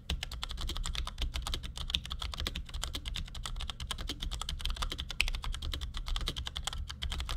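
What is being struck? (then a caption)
Plastic mechanical keyboard. Fingertips from both hands type in quick taps on a compact black plastic Cherry G84-4100 mechanical keyboard with ML switches, resting on a desk. A fast, continuous stream of short, crisp clicks has a bright top end, and a steady low hum sits underneath throughout.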